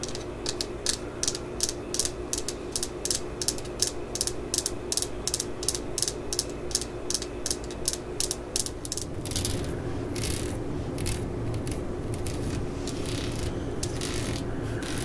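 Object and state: Steel hammer head tapped with nails.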